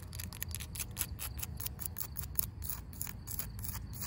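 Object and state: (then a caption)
Weathered wooden fence post. Long pink acrylic nails tap and scratch a solid, grey, weathered wooden fence post with a knot, outdoors. Quick, bright clicks and dry scratchy strokes come in a rapid, uneven stream over a steady low rumble, each tap dying away almost at once.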